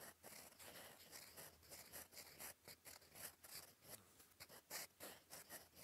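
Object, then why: Paper writing sheet under a metal pen nib. A gold metal fountain pen nib, held in fingers, scratches across a flat sheet of cream lined paper on a desk while writing cursive. Quiet, bright, scratchy strokes come in quick, uneven bursts with short pauses between letters. The sound is dry and hissy, with little low end.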